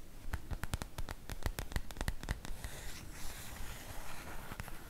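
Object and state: Cotton fabric makeup bag scratched.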